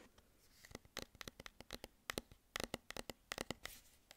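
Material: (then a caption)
Metal. Fingernails scratch the paper label of a hollow, medium cylindrical food tin with a plastic lid, held up close, and tap its metal base and lid. Quiet, dry, bright clicks and scratches come in quick irregular bursts, each dying away almost at once.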